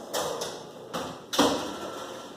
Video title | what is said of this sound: Pão Dabo | ele faz um som de oco, significa que ele está bom